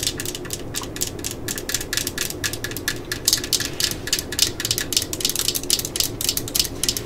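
Long nails rapidly tap and scratch the housing of a yellow and black plastic cordless drill lying on a mat, moving from near the logo to around the body. The result is a dense run of sharp, bright plastic clicks and dry scratching with a quick, short decay, over a faint low, steady background.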